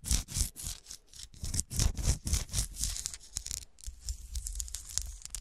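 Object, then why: Small cut glass shoe figurine. Long dark-polished nails tap and scratch the ridged surface of a small, solid, textured and frosted cut-glass golf shoe ornament resting on a shiny dark cloth. Quick, uneven bursts of bright, hissy scratching alternate with sharp clicky taps that die away almost instantly, over a soft low thump at each contact.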